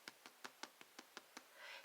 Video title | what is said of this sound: Easy Homemade Bread Grandma's Water Bread 4 loaves / No milk /Rolls Cinnamon Rolls Pizza Crust More! | You can hear that hollow sound.